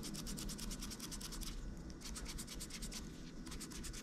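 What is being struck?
Plastic laptop keyboard rubbed with a cotton swab.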